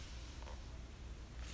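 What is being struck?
Nothing is struck.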